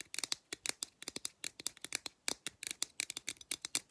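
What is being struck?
Aluminum drink can tapped with fingernails.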